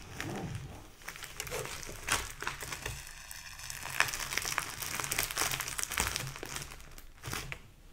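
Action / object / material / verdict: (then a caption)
scrape / photo album with plastic sleeve pages / plastic / none. Fingers rub, flip and crinkle the plastic-covered pages of a thick photo album with plastic sleeve pages. The result is a steady stream of bright, crisp crinkling and crackling, with sharper swishing page flips at about 2, 4, 6 and 7.3 seconds.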